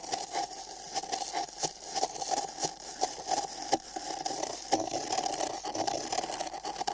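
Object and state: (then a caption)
Paper cup scratched inside. Fingernails scratch inside the rim of an empty, hollow printed paper cup held sideways over the microphone. Bright, crackly scrapes and quick clicks repeat at an uneven pace over a steady hollow tone near 780 Hz, with almost no low end.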